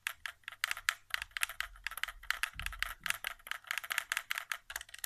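Fingertips tap rapidly near the touchpad and buttons of a white, hollow plastic PS4 controller resting on carpet. About two dozen quick, dry clicks and taps follow one another with almost no ring, bright and hollow-sounding with little low end.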